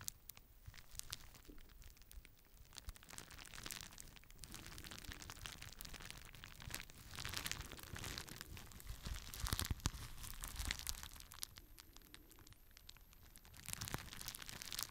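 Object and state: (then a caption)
Plastic bubble wrap sheet. A clear plastic bubble wrap sheet is held in both hands while the fingers pop its bubbles and crinkle the plastic. Quiet, dense, irregular crackles and sharp snaps come with bright, rustling bursts that swell louder in the middle and again near the end.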